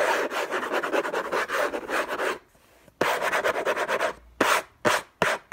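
Fingertips and short nails scratch the lid of a closed, long rectangular orange Hermès cardboard box covered in textured paper, lying on a fluffy blanket. Fast, dry rasping strokes come in two dense runs separated by a brief silence. Three short, separate scratches follow, with a mid-range papery tone and little low end.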